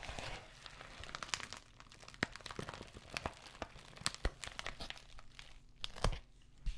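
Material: Plastic.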